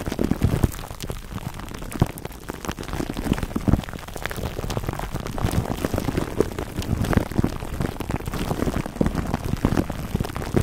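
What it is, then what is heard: Plastic cling wrap crinkled over a foam mic cover. Fingertips rub and squeeze clear plastic cling wrap stretched over a black foam microphone windscreen cupped in both hands. The result is a dense, steady stream of close, low-heavy crinkling and crackling with many sharp little pops and almost no bright edge.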